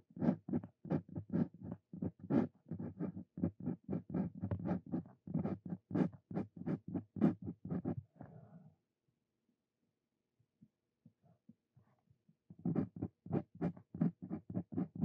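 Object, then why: Steel pen nib on paper card over a wooden desk. A Brause Cito Fein steel dip pen nib scratches continuous writing strokes across a thin paper card resting on a wooden desk. Quick, dry, rhythmic scratches run steadily for about nine seconds, fade to a near-silent pause with only a few faint ticks, then resume for the last few seconds.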